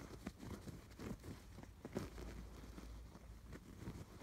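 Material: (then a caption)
Canvas, yarn. Fingertips and nails scratch along the crossing stitch lines of a soft stuffed canvas pillow with raised blue and yellow yarn stitching. The result is a quiet, low, muffled rustling and scraping, with a few slightly louder scratches standing out from the steady texture.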